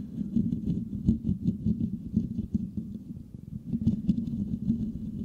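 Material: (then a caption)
Metal mesh. Fingertips and nails rapidly scratch a hollow silver metal mesh microphone grille. The result is a dense, continuous low scratching patter, strongest around the low-mid range, with quick bursts and short peaks that fade almost instantly.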